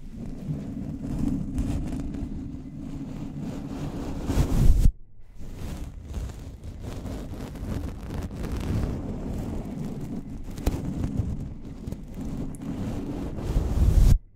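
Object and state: Microphone grille brushed.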